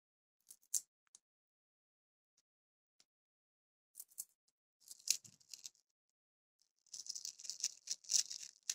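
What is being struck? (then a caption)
Paper masking tape roll. Long grey nails scratch and pick along the edge of a small roll of yellow tesa paper masking tape held in both hands, where the tape is starting to peel. Quiet, dry, high-pitched scratching comes in short scattered bursts with silent gaps, then becomes denser and more continuous toward the end.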